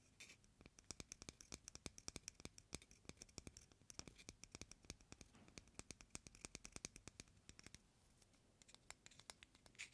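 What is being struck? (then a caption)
Hen egg with thin hard shell. Fingernails and fingertips scratch and tap a single raw, whole white hen egg with a hard, thin shell. It makes a steady stream of quiet, sharp, bright clicks with soft scratching between them, each tap dying away instantly with no ring.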